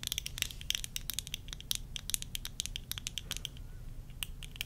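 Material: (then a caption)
Plastic. Long nails tap and scratch the rims and temple arms of worn plastic tortoiseshell eyeglasses. The result is a quick, uneven run of sharp, bright clicks and light scratches that stop almost instantly, over a faint low rumble.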